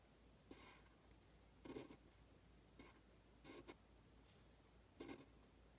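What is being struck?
Pen on a thin paper sheet.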